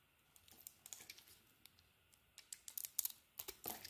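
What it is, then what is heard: Bar of soap being carved. A utility knife blade carves into a solid purple and green bar of soap, making fifteen quiet, crisp, high scraping and crackling cuts. The cuts grow slightly louder and closer together toward the end, with a brighter rasping stroke near the finish. There is almost no low end.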